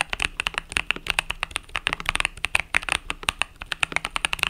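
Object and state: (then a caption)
Mechanical keyboard with plastic keycaps. Fingertips type rapidly on a compact mechanical keyboard with pastel purple-yellow plastic keycaps. About thirty short, bright clacks come in quick, uneven bursts, each dying out almost instantly, with a crisp tone near 2.6 kHz and very little low end.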